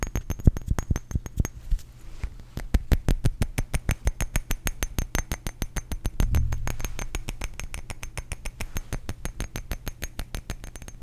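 A small glass perfume bottle with a metal cap, partly filled with blue liquid, is held up and tapped quickly with fingertips and short nails. Rapid, fast clicking taps run throughout, each short and dry with a low thump and a thin bright tick. They come in uneven bursts that ease slightly toward the end.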